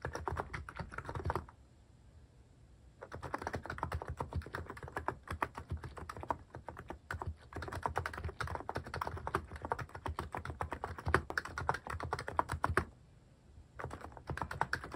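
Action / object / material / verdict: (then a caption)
tap / plastic mechanical keyboard / plastic / none. Fast fingertip typing on a cream plastic-case mechanical keyboard with cat and paw-shaped plastic keycaps produces rapid, dense bursts of short, dry key clacks with a solid low body. The typing stops briefly twice, leaving near-silence between the bursts.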